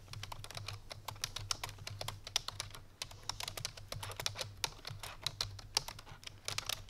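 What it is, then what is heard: Plastic computer keyboard. A full-size black plastic computer keyboard resting on a white fur rug is typed on quickly with the fingertips and painted nails of both hands. A steady stream of short, bright, clicky key taps plays over a constant low hum, and each tap dies away almost instantly.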